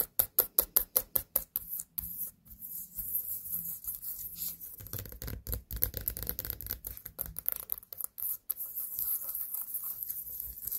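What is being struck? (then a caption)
Small pumpkin rind. Long nails tap and scratch on the sides of a small white pumpkin standing on a table. A quick run of sharp, distinct taps gives way to a continuous low, rough scratching broken by occasional taps, with a faint high hiss throughout.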